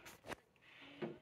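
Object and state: Hollow-sounding veneered chest of drawers panel.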